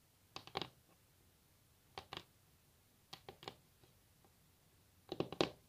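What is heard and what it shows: Long natural nail tips tap a solid wooden table top in four quick clusters of light, sharp clicks, separated by quiet pauses. Each tap is dry and dies away almost instantly, with a thin, bright tick and little low end.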